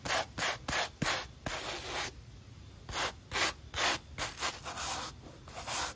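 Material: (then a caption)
Foam. A wooden-backed natural bristle brush scrubs along the white textured foam midsole of an empty black mesh running shoe. About ten short, bright, scratchy brushing strokes come in quick, uneven bursts, with one longer continuous rub partway through.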